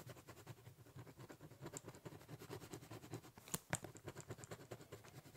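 A ballpoint pen scribbles and shades on the top surface of a large, hollow, brown corrugated cardboard box. Rapid, rhythmic scratching strokes carry a low, hollow resonance from the box. Two sharper, brighter taps stand out near the end.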